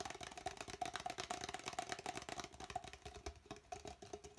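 An empty, hollow red plastic party cup is held upright and then upside down while fingertips and nails tap rapidly on its sides. The quick, uneven clicking taps carry a hollow plastic ring around 730 Hz with bright, crisp edges, each tap dying away almost instantly.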